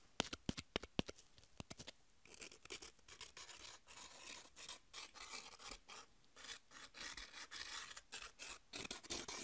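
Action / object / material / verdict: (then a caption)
scrape / corn tortilla chips scratched and rubbed with long nails / corn chip / none. Long nails tap and then scratch and rub across thin, dry, triangular corn tortilla chips (Doritos) held in the hands. A run of sharp, quick clicks opens the clip before giving way to steady bursts of bright, dry rasping in short back-and-forth strokes.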